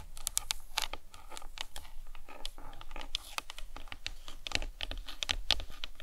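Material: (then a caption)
Plastic. Long nails tap and scratch the top of the cranium of a hollow plastic anatomical skull model resting on a towel. The result is a quick, irregular run of dry, clicky taps mixed with bright, crinkly scratching, each sound dying away almost instantly over a soft low rumble.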